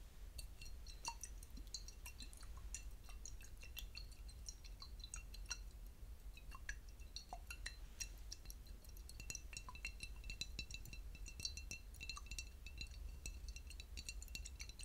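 A clear glass bottle filled with pinkish liquid is held sideways and tapped with fingertips and short nails. Quick, light, bright clinks ring high and die away almost at once, coming in dense irregular bursts over a steady low hum.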